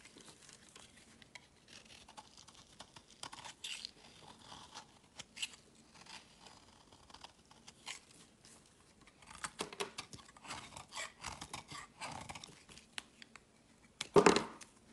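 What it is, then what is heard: Bar of soap being carved. A metal blade carves a solid white rectangular bar of soap held in the hand, shaving powdery white curls off its edge. Quiet, dry scraping and crumbly crinkling bursts come in uneven clusters. A louder, sharper scrape arrives near the end.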